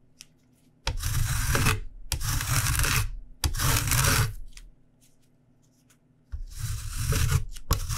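A whole, solid yellow lemon is scraped repeatedly along the fine teeth of a stainless steel rasp grater held at an angle over a white cutting board, zesting the rind. Long, steady rasping strokes give a bright, hissy scrape over a low rubbing undertone, with a quiet pause in the middle before the scraping resumes.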